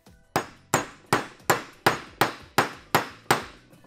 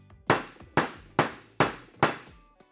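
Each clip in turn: First: wheel bearing fully seated in hub. Second: wheel bearing not yet seated in hub.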